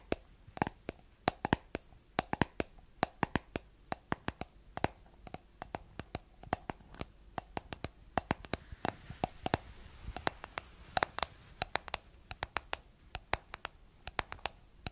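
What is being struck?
Small plastic cream jar with a plastic lid.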